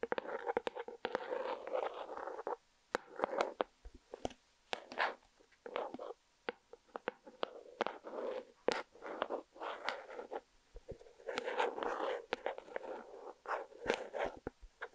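A small round plastic panda slime container with a panda-face lid is held in the hands beside a microphone and tapped and scratched with long painted nails. Quiet bursts of dry, papery scratching centered in the midrange alternate with sharp, bright clicking taps and short silent gaps.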